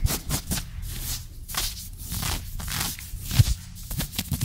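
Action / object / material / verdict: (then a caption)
scrape / ribbed knit fabric trousers / knit fabric / none. Fingertips and short nails scratch fast over soft, green ribbed knit fabric of trousers stretched over a bent knee, close to the microphone. The result is a quick run of dry, bright scratching bursts over a steady low rumble, each stroke short with no ring.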